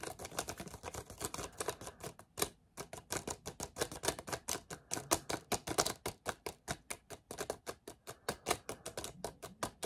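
An empty, crumpled clear plastic water bottle with its cap on is held in both hands and squeezed and twisted with the fingertips. It gives off a steady run of quick, sharp crackles and snaps that reach into the highs, with a brief pause near the 2.5-second mark.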